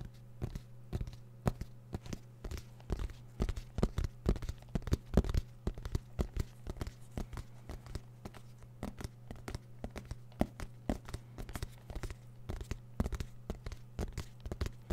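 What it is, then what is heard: Fabric-covered hard-shell zip case. Fingernails scratch and tap a small, black, fabric-covered, semi-rigid hard-shell zip case, hollow and closed, held close to the microphone. The result is a dense stream of short, dry, crackly taps and scrapes with a steady low hum underneath.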